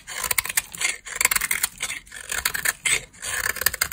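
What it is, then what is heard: Dry bar soap. A solid beige bar of dry soap, held in a long-nailed hand, is scraped and carved with a utility knife blade. Bursts of dry, crisp scraping with bright, high-frequency crackle come in several runs separated by brief pauses. The sound has almost no low end and no ring.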